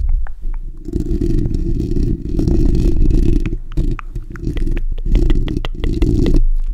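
Fingertips and short nails on both hands scratch the bare steel wire-mesh hollow dome grille of a black desktop condenser microphone. The result is a dense, loud, boomy rumbling scrape concentrated in the low end, in uneven surges with short pauses, dotted with faint sharp ticks.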